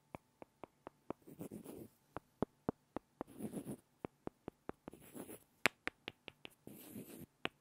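Two small solid light-wood blocks are tapped and rubbed against each other by hand. Quick, dry, sharp clicks with almost no ring come in a steady series, broken by four short passages of scratchy rubbing.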